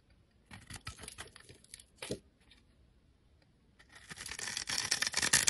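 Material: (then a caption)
Soap. A blade shaves and chips flakes from the surface of a solid, embossed orange-pink soap bar held in the hand. Short, bright scraping strokes crackle in bursts over the first two seconds, pause, then build into a louder, denser run of scraping toward the end.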